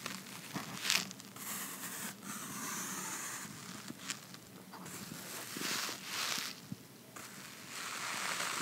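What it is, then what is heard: Cardboard box tray. Fingertips and nails scratch and tap the white lined inside of an open, empty red cardboard box base held in one hand. The result is a dry, bright scratching and crackling texture with scattered sharp taps that swells and fades over the clip.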